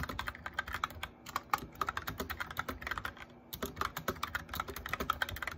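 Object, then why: Plastic mechanical keyboard. A cheap white and grey mechanical keyboard with plastic keycaps and hollow switches is typed on with fingertips and short nails at a steady pace. About three dozen sharp, clacky keystrokes centered around 1.2 kHz each cut off almost at once, with a brief pause just past the midpoint before the typing resumes.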